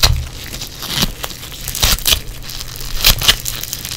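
Yellow foam bead clay is pressed, pinched and squeezed by fingers in black nitrile gloves. The result is a steady run of bright, dry crackles and crunches with a low rumble beneath, and sharper pops stand out now and then.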